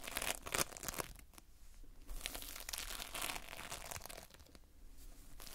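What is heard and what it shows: A heap of multicolored Playfoam, foam beads in a sticky binder, is squeezed and pulled apart by fingers. It makes close, bright crackling and crinkling bursts with a sticky tearing quality, coming in irregular, rapid clusters with short quieter gaps.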